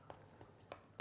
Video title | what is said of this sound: How to Make the Crispiest Pork Belly | give it a proper flick and if it sounds hollow you know it's gonna be crispy